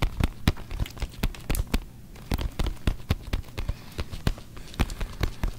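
A full-size, hollow, inflated brown leather NFL football with written lettering is held in both hands close to the mic while fingertips and nails scratch and rub across its pebbled leather surface. The result is an irregular run of short, dry scratches and taps with a low, hollow thump beneath each one and brief bright clicks that die away almost instantly. There is a softer, quieter stretch of rubbing around the two-second mark.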